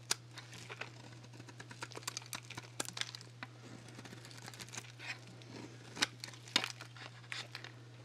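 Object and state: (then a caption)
Dry soap bar being shaved. A solid rectangular dry Axe soap bar, painted black and white with nail polish, is held in one hand while a small handheld metal blade shaves thin, crisp strips off its face. The result is a run of dry, bright crackling and crunching scrapes, with sharp snaps standing out near the start and around the sixth and seventh seconds over a steady low hum.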